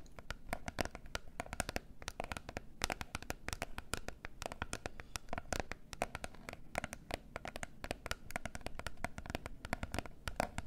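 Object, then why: Small closed cardboard box. Long nails rapidly tap and scratch a small, closed, rectangular gold cardboard box of face masks held in both hands. The result is a dense, steady stream of dry, sharp clicks with a scratchy, papery texture and no ring-out, lasting the whole clip.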